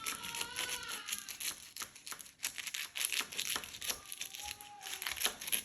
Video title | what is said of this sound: BAKLAWA ROLL AUX AMANDES // IDÉE GÂTEAUX AÏD | ça croustille. Ils sont vraiment super bien croustillants.